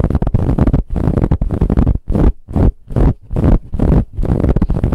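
Long nails scratch vigorously across a soft brown ribbed fabric pillow. The strokes come in rapid, uneven bursts of rough, scratchy rustling with a heavy low-end rumble, separated by brief silent pauses.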